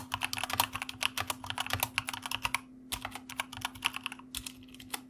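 Fingertips of both hands type quickly on a white plastic mechanical computer keyboard, producing a dense run of sharp, bright clicks that briefly pause near the middle before resuming. A faint steady low hum runs underneath throughout.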